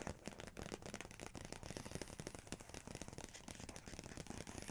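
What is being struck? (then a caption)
Paper pages of a large book. Fingertips and long nails tap and trace across the paper pages of an open large photography book showing a photo and a text spread, with no page turning. Quick, dry taps and soft scratchy tracing run continuously at a quiet, even level, with a thudding low body under a papery, bright texture.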